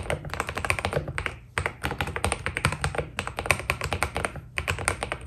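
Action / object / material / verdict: tap / mechanical keyboard with plastic keycaps / PBT plastic / none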